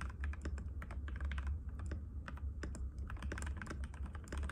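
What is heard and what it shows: A compact cream-white mechanical keyboard with plastic keycaps and a hollow case, resting on a glass table, is typed on continuously with the fingertips of both hands. Rapid, overlapping clicky taps form a dense stream, each with a bright attack over a steady low hum around 70 Hz.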